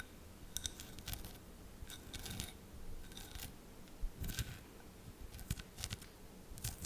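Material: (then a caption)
Glass. Long painted nails tap and scratch a round, hollow, fist-sized tealight holder covered in colourful glass mosaic tiles, which looks empty and is held in the hands close to the mic. Crisp, bright clicks and brief scratchy bursts come in irregular clusters over a low, rumbling handling noise, and each tap dies away almost at once with no ring.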